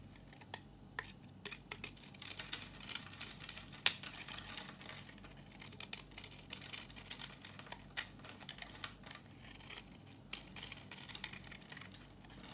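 A solid, dry, red-orange rectangular bar of soap is held up and then shaved with a green-handled knife, with crumbly flakes coming off. The clip is a quiet run of dry, crisp scraping and crackling with a bright, high hiss and many short ticks, plus one sharper snap near the four-second mark.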